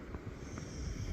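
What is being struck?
Nothing is struck.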